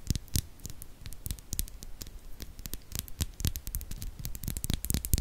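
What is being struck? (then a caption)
Steel mesh microphone grille scratched with fingernails. Long fake nails on both hands scratch the hollow steel mesh grille of a silver Blue Yeti microphone, producing a dense, continuous run of crackly scratches and patter. Each stroke pairs a deep, boomy thump with a bright, sharp tick that dies away almost instantly.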